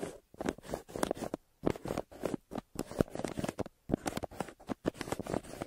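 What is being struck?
Kraft paper mailer bag.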